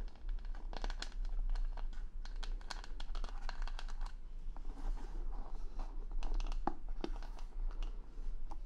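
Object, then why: Plastic rhinestones on a wooden hair brush back. Long nails scratch and tap over the plastic rhinestone stickers covering the back of a wooden hair brush. The sound is a dense, continuous run of crisp clicks and scratchy rasps, with brighter taps popping out here and there. A steady low hum sits underneath.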